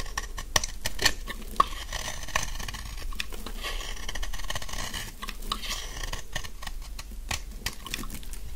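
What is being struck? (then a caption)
Bar of soap cut with a knife blade. A large, solid, dry pink soap bar held in the hand is cut into crunchy chunks with a utility knife blade. A steady, close crackling crunch runs throughout, punctuated by sharper clicks and snaps as pieces break off, with a faint low hum underneath.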